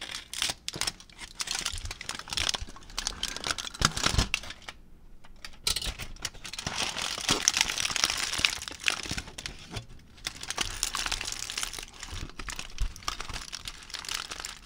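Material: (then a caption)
Aluminium foil. A thin aluminium foil sheet is crumpled into a ball with the fingertips. The result is dense, bright crinkling and crackling, with a couple of brief pauses along the way.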